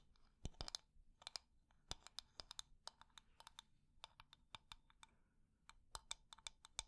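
A wooden decorative container is tapped quickly and at medium speed, with its textured surface scratched. Sharp, dry clicks with a bright top ring out in uneven bursts, each dying almost instantly over faint scratchy noise. About 29 taps are heard.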